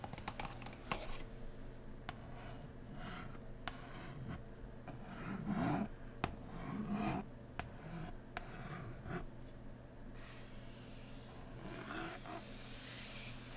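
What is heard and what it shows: One hand taps and scratches with fingertips and nails on the lid of a large, printed cardboard board game box lying flat and hollow. Sharp, dry, short taps are scattered irregularly among soft scratching and rustling. A steady low hum runs underneath throughout.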